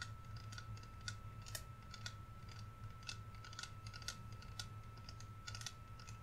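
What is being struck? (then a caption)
Plastic spray bottle. A hand-sized, clear plastic "warm vanilla sugar" body mist bottle with a pump sprayer, hollow and partly filled with amber liquid, is held in both hands and tapped and scratched along its sides with fingernails. The result is a quiet run of quick, bright, clicky taps and scratchy ticks over a steady low hum and a faint constant tone.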